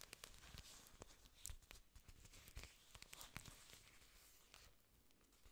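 Long nails scratch and rub the thick, glossy green leaves of an artificial plastic orchid plant, which has aerial roots showing at the bottom, close to the mic. The result is a quiet, dry crinkling and scraping texture broken by many short, sharp clicks and taps with bright highs.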